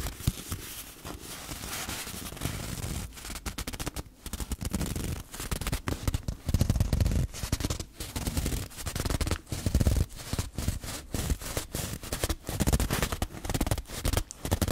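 Long fingernails tap and scratch a long, hollow, empty brown cardboard tube held horizontally over the microphone. The result is a rapid, irregular series of short, dull, hollow thumps with a deep low body around 90 Hz, mixed with soft scratchy rustling between the taps.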